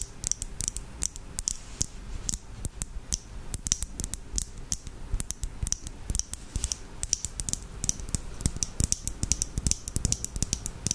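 Long acrylic nails tap and scratch on a small clear lip gloss tube filled with red gloss and topped with a black cap. A rapid, continuous run of sharp, dry clicks with bright high ticks and a low thud beneath, each hit dying away almost instantly, mixed with brief scratching.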